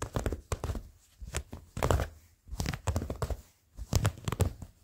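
Short fingernails scratch blue cotton denim jeans folded close by, making bursts of low, rough scratching in three main clusters separated by brief pauses. Each stroke has a soft, brushy texture with a faint bright edge.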